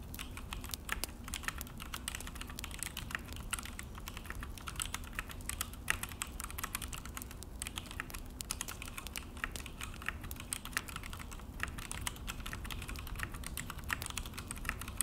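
Both hands type steadily with their fingertips on a full-size Akko mechanical keyboard with an orange plastic case and black plastic HyperX keycaps, resting on a desk. A dense, continuous stream of short, bright, clicky key presses and taps runs throughout, with each stroke dying away almost instantly. A steady low background rumble sits underneath.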